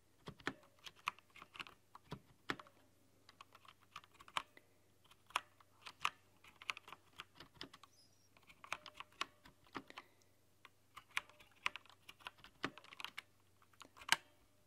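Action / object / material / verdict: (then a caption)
tap / plastic mechanical keyboard keycaps / plastic / none. Rapid tapping of long nails from both hands on the translucent plastic keycaps of a rainbow-lit mechanical keyboard. The bright, dry clicks come in uneven bursts with very short decay over a low steady hum.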